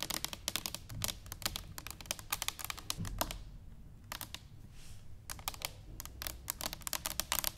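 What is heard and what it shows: Fingernails of both hands tap rapidly on an upright, hollow stainless steel cylinder canister resting on a wooden table. Quick, bright clicks come in dense bursts with a brief lull in the middle, over a faint low hum. Each tap is dry and short, with almost no ring.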